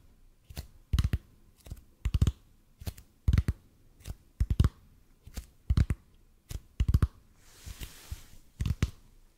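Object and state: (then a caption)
EPP foam roller. A large, hollow, red-and-white EPP bead foam roller positioned above the mic is tapped and scratched with the fingertips of both hands. Slow, uneven dull thumps sound deep and short, often landing in quick pairs or small clusters. Near the end, a soft bright scratching hiss is heard.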